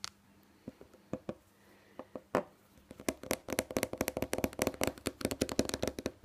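Long nails tap and scratch quickly on a small white plastic nasal spray bottle with a green label. Sparse clicks at first give way to a fast, dense run of sharp, bright taps with a faint hollow resonance. The sound is dry, and each tap dies away almost at once.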